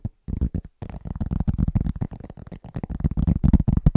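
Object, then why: Round flat cork board. Fingertips of both hands tap quickly on a large, round, flat, solid cork trivet. The taps are soft, muffled, low thuds in a fast, uneven patter. Each one dies almost instantly, with no ring.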